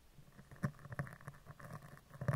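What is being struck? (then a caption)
Steel mesh microphone grille. A dark plastic spoolie brush is brushed and scratched along the right side of a round steel mesh microphone grille. It makes a series of quiet, low, dull scratching pulses with brief bright crackles. The two louder strokes stand out near the middle and the end.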